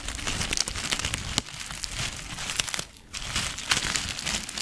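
A small clear plastic zip-lock bag, partly filled with dried herbs, is crinkled and squeezed with fingers close in front of the microphone. It makes a steady, dense, bright crinkling and crackling with little low end, pausing briefly near the three-second mark before continuing.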